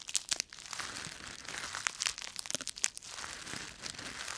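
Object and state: Dry leaves crushed by hand.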